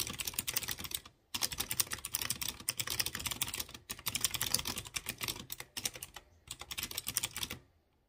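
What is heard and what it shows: A light blue plastic mechanical keyboard with round chrome keycaps on clear-housed blue switches is tapped by fingertips with dark nails. Rapid bursts of bright, clicky keystrokes are heard with short pauses between them, each click dying away almost instantly.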